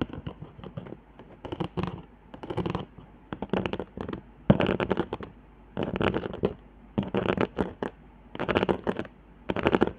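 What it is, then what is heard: Cardboard board with hot-glue ridges. Long nails scratch and tap along the raised hot-glue lines and dots on a flat, handmade cardboard board. The sound comes in short bursts of dry, crackly scraping and quick taps, separated by brief quiet gaps. It has a papery low body and a thin, bright edge.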